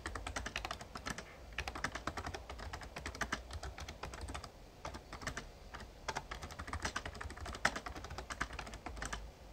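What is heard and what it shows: Fingertips type steadily on the plastic keys of a full-size backlit Razer Ornata Chroma mecha-membrane gaming keyboard. The result is a quick, uneven stream of short, bright clacks with brief pauses between bursts, over a faint low hum.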